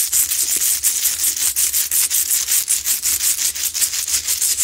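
Long nails aggressively scratch a lit, medium, solid, rough Himalayan salt crystal rock lamp. About 20 quick, somewhat uneven strokes come in a steady stream of bright, gritty rasping, almost all of it high-pitched hiss with no low end. Each stroke cuts off quickly.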